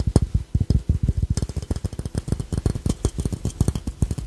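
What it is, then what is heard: Ceramic piggy bank. A small hollow glazed ceramic ladybug-shaped piggy bank with a red shell, black body, yellow face and a paper tag is held in both hands while fingertips and short nails tap and scratch its glossy surface. A quick, steady run of dull, hollow, low knocks sounds, each dying away almost instantly, with faint bright ticks and scrapes from the nails between them.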